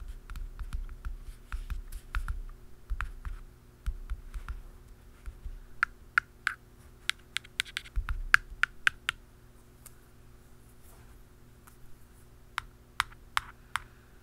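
A hollow black plastic aerosol can cap is tapped first with fingertips, giving quick, soft, hollow taps with dull low thumps around 1.6 kHz. It is then tapped with a blue plastic pen tip, giving sharper, sparser, bright clicks that stop almost instantly. A faint steady low hum sits underneath throughout.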